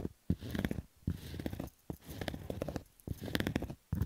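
Fingernails scratch over the stitching of a black Adidas fabric baseball cap with a hollow crown. The sound is rough, low-heavy rasping with crackly clicks and some brighter ticks, coming in five bursts separated by short silences.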